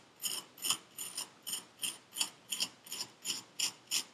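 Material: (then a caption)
Kinetic sand. A metal needle tool scratches across purple kinetic sand packed into a paper cup, making about a dozen short, dry, gritty scrapes in a steady rhythm. Each scrape is bright and hissy with almost no low end and stops at once with no ring.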